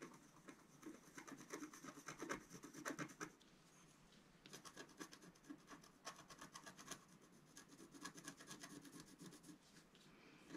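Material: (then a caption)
Coated paper. A wooden stylus scratches repeated strokes across a flat, black-coated scratch-art sheet, about A4, lying on a table while the other hand holds the sheet steady. Quick, dry, bright scraping strokes come in irregular clusters, with a brief quieter pause near the middle before the scratching resumes. Each stroke dies away almost instantly.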